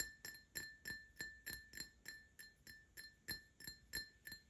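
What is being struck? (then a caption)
Glass drinking tumbler. An empty Paladone Mario Kart printed glass tumbler is tapped with short nails, first on its base and then on its side. The 14 quick, fairly irregular taps each give a bright glassy clink with a clear ringing tone near 1.8 kHz. Each tap fades almost at once.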